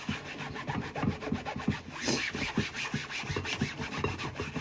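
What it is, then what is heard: Plastic cutting board being scrubbed. Gloved hands scrub a large, flat, solid white plastic cutting board with a soapy sponge while holding it tilted over a sink. The repeated rubbing and scrubbing strokes make soft, scratchy, swishing sounds with a bright, hissing top and a low, thumpy body.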